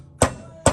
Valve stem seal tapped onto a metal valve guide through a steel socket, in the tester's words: And you'll hear the tone change. So that sounds solid